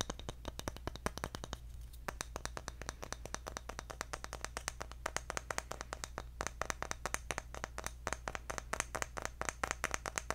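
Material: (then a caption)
Bamboo. Fingertips rapidly tap across the engraved face of a round, palm-sized bamboo jar lid held up in the air. The result is a dense, steady stream of short, dry clicks with a bright, woody character and almost no ring, over a constant low hum.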